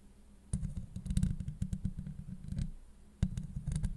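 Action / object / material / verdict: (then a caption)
scrape / steel mesh microphone grille / steel mesh / none. Long acrylic nail tips scratch across a hollow steel mesh microphone grille. The result is a dense, low, rumbling scrape with muffled thumps and sharp clicky ticks, rising in bursts and fading between strokes.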